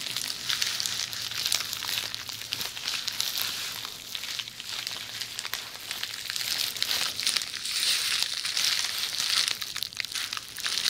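A roll of red plastic bubble wrap, rolled into a tube, is moved from one side of the microphone to the other while long nails scratch and squeeze the bubbles. This makes a steady, bright crinkling and crackling made of many small rapid ticks, with almost nothing in the low end.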